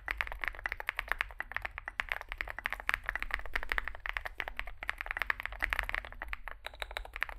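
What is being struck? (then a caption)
Mechanical keyboard with plastic keycaps. A compact 65% Zoom65 mechanical keyboard with a dark case and white and grey SA-profile plastic keycaps, resting on a desk mat, is typed on continuously by both hands' fingertips. It produces a rapid, steady stream of short, dry clacks centered in the upper mids, with bright edges, over a faint low hum. Each keystroke stops almost instantly, with no ring.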